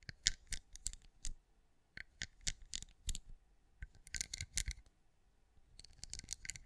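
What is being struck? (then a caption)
Pinecone-shaped wax candle. Long acrylic nails tap and scratch across the raised scales of a hand-sized, cream, pinecone-shaped wax candle that appears solid. Quick, dry, bright clicks and short scratchy rasps come in uneven bursts separated by brief quiet pauses. Each tap dies away almost instantly over a soft low rumble.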